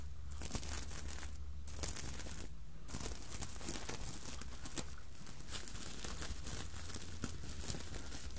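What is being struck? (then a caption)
Sequined fabric hat. Long nails scratch over the sequins of a soft, not hollow, red sequined Santa hat with white fluffy trim, while the other hand holds the white brim. The result is a continuous crinkly, scratchy rustle with bright ticks, over a steady low hum.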